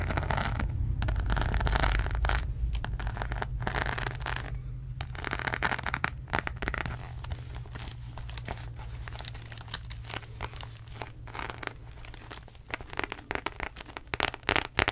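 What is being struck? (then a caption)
Embossed faux leather wallet. Long nails scratch and tap the croc-embossed surface of a beige zippered faux leather wallet, making dense, dry crackling scrapes and crinkly ticks. A steady low hum runs underneath throughout.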